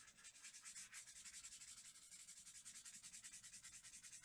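A small round brush with a wooden handle rubs back and forth on a large flat sheet of white drawing paper, blending graphite below the eyes of a drawing. About two dozen soft, quiet, bright scratchy strokes follow one another in a steady, slightly uneven rhythm.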